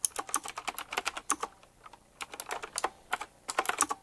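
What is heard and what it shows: Both hands type fast with bare fingertips and short nails on a full-size retro typewriter-style mechanical keyboard, which has round black plastic keycaps set in chrome rings and a glossy black frame. Rapid, crisp, bright clicks come in two quick bursts separated by a brief pause. Each keystroke ends almost instantly, with no low thump.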